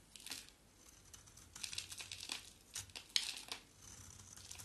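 A small solid green bar of soap with a black coating is held in the hand and shaved with a box-cutter blade. The result is a series of quiet, bright scraping and crinkling strokes, with one sharper, louder scrape near the end and a soft hiss between cuts.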